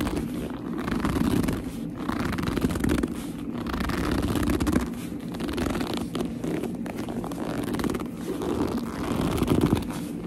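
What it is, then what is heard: Leather purse. Long nails scratch and grip the flap and front of a small black leather purse. The result is a steady, dense run of muffled squeaky rubbing and scraping, weighted low with little brightness, swelling and easing without clear gaps.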